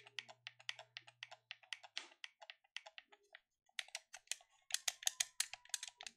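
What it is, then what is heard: Plastic game controller. Fingertips click the buttons and triggers of a black plastic gamepad held in both hands, making about 25 short, bright, dry clicks in an uneven rhythm. There is a brief pause near the middle, then a denser run of clicks, with a faint low hum under the opening seconds.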